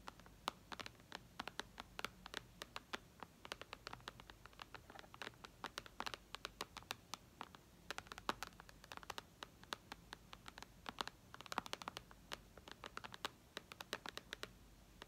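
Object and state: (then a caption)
Glass tablet screen. Long red nails quickly tap and scratch the glass screen of an iPad lying flat. Dozens of short, sharp, bright clicks patter unevenly over a faint, quiet hiss, each dying away almost at once.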